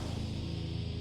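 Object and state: Nothing is struck.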